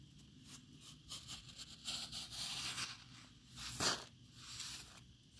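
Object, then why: Block of compacted wet sand. A hand-held metal offset spatula with a dark handle scrapes and carves the top edge of a solid cylinder of compacted wet sand outdoors, loosening the sand. Soft, gritty, bright scraping comes in uneven strokes, swelling to a sharper, louder scrape near the end.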